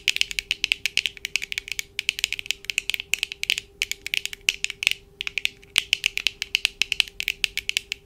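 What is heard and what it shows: Long acrylic nails tap and click rapidly with both hands on the lenses and frames of black plastic-framed eyeglasses worn on the face. Dozens of sharp, bright, very short clicks land in quick, uneven bursts, with a brief pause near the middle, over a faint steady hum.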